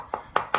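Three taps on the plaster of a damp hallway wall, where the wallpaper has come away, give short, hollow knocks that centre around 1.2 kHz and die out quickly. The plaster has blown away from the wall and sounds hollow. The damp is blamed on a large tree, and the plaster is to be knocked off.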